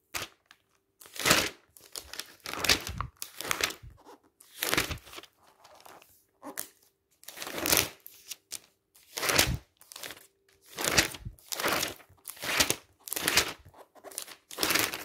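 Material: Paper.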